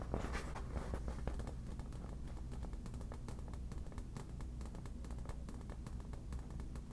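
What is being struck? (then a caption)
Inflated vinyl ball. A yellow inflated vinyl beach ball, hollow and taut, is tapped with the tips of long black nails. Quiet, rapid light ticks and faint scratchy clicks sit over a steady low hum for the whole clip.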